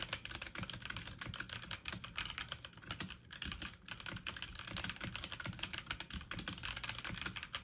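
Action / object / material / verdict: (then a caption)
tap / plastic mechanical computer keyboard / plastic / none. Keys on a full-size backlit mechanical keyboard with plastic keycaps are pressed fast with fingertips and medium nails. The result is a steady, dense stream of quick, bright clacks and taps with short, dry decays, with some keystrokes louder than others.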